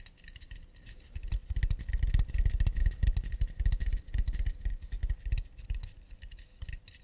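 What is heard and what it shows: An acacia wood plate is tapped and scratched with fast, light, irregular strokes. The result is a dense patter of short, dry knocks with a low thump and bright clicks. It starts quiet, swells through the middle, then thins out toward the end.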